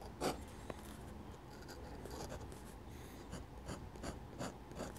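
A dip pen held in the fingers scratches ink lines with its metal nib on a flat sheet of drawing paper while drawing a church. Six short, bright scratchy strokes stand out over a quiet, soft papery hiss, the first and strongest near the start and the rest spread toward the end.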